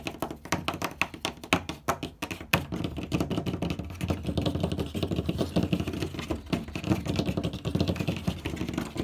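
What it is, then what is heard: Wooden door. Both hands rapidly tap the large, flat panel of a light wooden door with fingertips and nails. Dry, short knocks with a low, hollow thud and a bright clicking edge start out distinct, then blur into a dense, continuous flurry for the rest of the clip.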